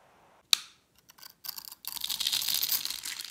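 A metal utility-knife blade scrapes and shaves the surface of a solid, palm-sized, blue rectangular bar of dry soap held in one hand, shedding crumbly flakes. A sharp, bright crack opens the clip, followed by a few short scraping strokes and then a continuous, crisp, high-pitched scraping that lasts to the end.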